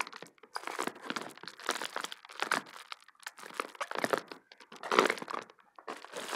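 A medium sheet of clear plastic bubble wrap with air-filled bubbles is held in both hands and squeezed, crumpled and popped with the fingers. Dense bursts of crinkling and sharp pops come in quick succession, with brief pauses between clusters and a sharp, bright crackle throughout.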